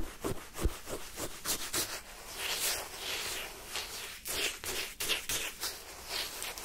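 A wooden spoon pushed by fingertips into pale yellow lemon sherbet shaved ice in a paper cup, scraping up through the crunchy ice. Eight bright, gritty crunching scrapes sound in short bursts over a soft, grainy hiss.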